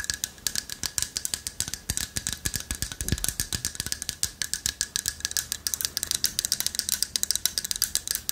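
A hand-sized, light wood carved owl figurine with a hollow latticework body and a loose carved piece inside is held in both hands, tapped with long nails and shaken so the inner piece rattles. The result is a rapid, continuous stream of dry, bright clicks and clattering rattles with very short decay, mostly in the high range, with a faint steady tone in the background.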